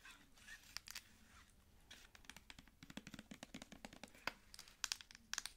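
Long nails tap the cap end of a plastic cosmetic squeeze tube and scratch along its body. The result is a quiet, close string of many quick, sharp, bright clicks mixed with dry, scratchy rustling, and each tap dies away almost instantly.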